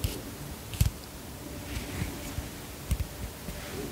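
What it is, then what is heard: Plastic pump bottle. A white plastic pump bottle held close to a microphone is tapped with long fingernails. Several short, dull, low-pitched taps, some in quick pairs, sound over a quiet background hiss, each dying away almost at once.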